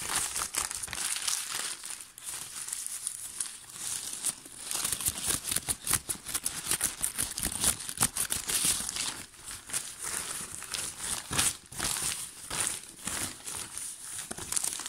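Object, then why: Thin paper sheet. A large, thin, somewhat translucent sheet of white paper, possibly tissue or baking paper, is already crumpled and gets scrunched, crinkled and rubbed between both hands with the fingertips. The result is a steady stream of crisp, dense crackling and rustling, bright with very little low end, swelling and easing in loudness throughout.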